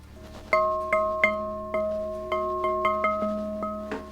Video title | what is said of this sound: Bargain Gun Auction Walkaround - Holts Sealed Bid Dec '23 | it rings like a doorbell you hear that ring that means that the laying is actually consistent